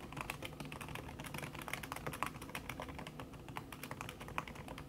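Fast typing with fingertips and long red-painted nails on a thin backlit aluminium keyboard whose plastic keys sit under a red silicone skin. A dense stream of soft, quick clicky taps follows one another closely, each short and dry with a bright edge over a low background hum.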